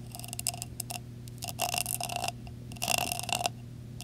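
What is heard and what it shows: Fingertips and nails tap, then scratch, the top of a metal screw lid on a glass jar decorated with blue rhinestones. Quick, bright ticking taps come first, followed by two longer, rasping scratch bursts with a faint metallic ring. A steady low hum sits underneath throughout.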